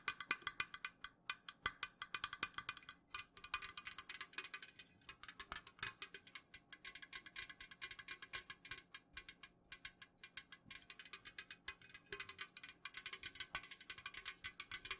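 Long nails rapidly tap the side of an unopened, full Jumex Guava Nectar aluminum can held tilted. The result is a fast, steady stream of short, dry, bright clicking taps with almost no ring and very little low end, with brief pauses between bursts.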